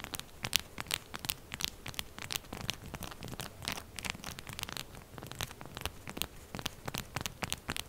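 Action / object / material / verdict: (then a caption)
scrape / solid bar of soap / soap / none. Long purple nails and fingertips aggressively scrape and tap a solid, upright, textured pink bar of soap, leaving soap flakes on the table. Fast, dry, crisp scratches and sharp taps follow one another with almost no ring, bright and rasping over a quiet low rumble.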